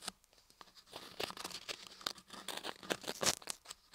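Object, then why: Carved laundry soap block scraped with a wooden ear pick. A wooden ear pick repeatedly scratches and pokes inside the dark ear canal opening of a carved laundry soap ear block held in one hand. The result is dry, bright scraping and crackling with irregular, closely spaced taps, mostly high-pitched with almost no low end.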